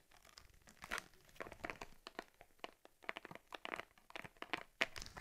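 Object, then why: Leather camera case. Fingertips and long nails squeeze and rub the front of a closed cowhide leather Argus C3 camera case with a stitched lens cover. Quick, dry, bright creaks and crinkles come in an irregular string of short bursts, with little low end and almost no ring after each one.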